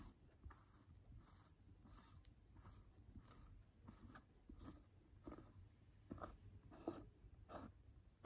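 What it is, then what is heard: Plastic jar lid, tapped and scratched. Fingers grip the rim of the glossy green plastic lid on a large round plastic cream jar, scratching it and tapping it in a loose, repeated rhythm. The soft, hollow plastic taps grow sharper toward the end over a low, constant rumble.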